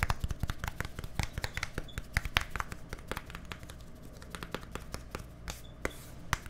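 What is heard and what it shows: A small, hollow white plastic deodorant stick with a green cap is held near microphones and tapped rapidly with fingertips and nails. The result is a fast, uneven stream of dry, clicky taps, each with a soft low thump and a bright tick that dies away almost instantly.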